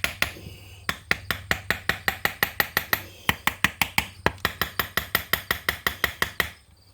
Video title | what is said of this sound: KX80 hasn't run in years, and will not start.(Part 2) | the sound changes from a solid sound to a more high-pitched tap when it comes loose